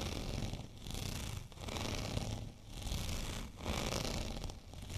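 Fingernails of both hands scratch a white, bumpy textured plastic rolling pin. The result is a steady, gritty scratching and rasping with a low rumble underneath and a bright, hissy top. The scratching swells and dips in short, uneven strokes.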